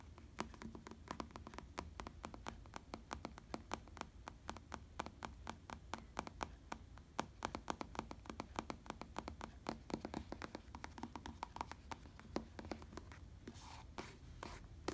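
Fingertips tap and scratch on a black, padded synthetic-leather bicycle saddle. The result is a quiet, steady stream of short, dry, clicky taps over a low hum, with a brief scratchy rustle near the end.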